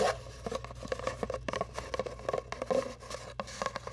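A long, hollow brown cardboard tube held across the microphone is tapped and scratched with long nails. A rapid run of short, dry taps with a hollow midrange tone mixes with light scratching over a faint low hum.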